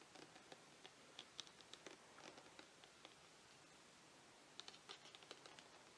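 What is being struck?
Plastic shower gel bottle.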